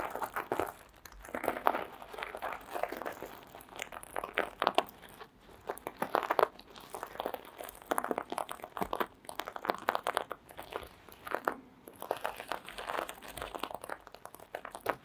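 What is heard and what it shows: Long green acrylic nails scratch across the plastic sequins of a small sequin-covered fabric mask resting on red fur. The result is a steady run of dry, crinkly scratching and quick clicks, mostly in the mid range, rising and falling in short bursts for about fifteen seconds.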